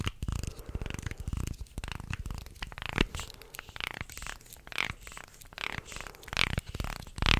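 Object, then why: Wooden segmented shark toy. Fingers scratch and tap along the wooden slats of a wooden segmented shark toy held upright. Dense, rapid scratchy rasps and dry clicking taps come in quick bursts, with a heavy low rumble under bright, crinkly edges. The clip grows louder and sharper near the end.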